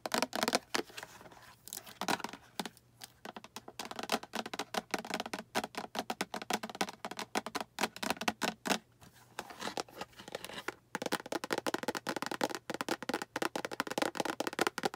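Long acrylic nails tap the front and sides of a small, hollow, translucent green plastic storage box with a latch handle that appears empty. Quick, dry, bright clicks come in dense, irregular bursts with short pauses between them. Each tap dies away almost instantly, with very little low end.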